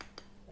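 A single tap on the set chocolate coating of a caterpillar cake makes a short, sharp click with a bright top, fading within a tenth of a second over a steady low hum. The hard tap confirms the chocolate has set.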